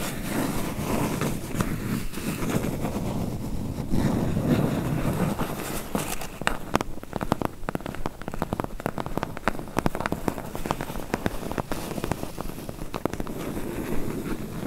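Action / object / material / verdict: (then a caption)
tap / closed corrugated cardboard box / cardboard / none. A medium, closed, hollow corrugated cardboard box is tapped and scratched rapidly with long nails along its bottom front edge. The first six seconds are a dense, low, rustling scratch, followed by quick, sharp, dry taps over a soft, steady scraping bed.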